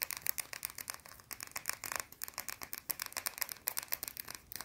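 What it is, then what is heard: Soap bar scratched and tapped with fingernails. A small, round, solid white soap bar held in both hands is scratched and tapped quickly with long blue nails. The result is a dense, irregular run of crisp, dry clicks and scraping ticks, bright and high with almost no low end, each sound dying away instantly.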